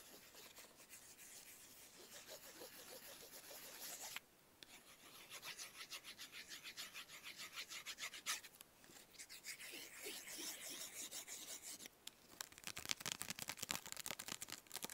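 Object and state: Paper playing card being rubbed.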